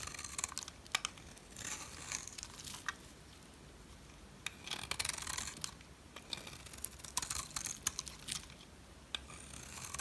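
A metal blade shaves and chips flakes from a solid turquoise dry soap bar held by fingers with long red nails. Bright, crisp scraping and crackling comes in bursts with quick, sharp snaps in between, and the quiet parts carry a low background hum.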